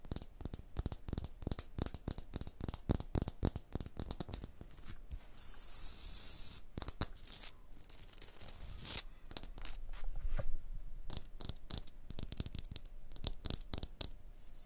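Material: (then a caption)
Stone. Long blue nails scratch and tap a rough, pitted, solid stone block wall, giving a fast, irregular run of dry clicks and gritty, tearing scrapes. The sound is mostly low and thudding, with brief bright hissing rasps near 5–7 seconds and 8–9 seconds.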